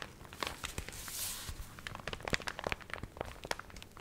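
A small water-wrinkled paper recipe booklet is held in both hands while its cover and pages are crinkled and flexed with long nails. Quiet, dense crackling is broken by many sharp, dry ticks and crunches, with a brief bright papery hiss swelling near the middle. Each crackle stops dead with no ring.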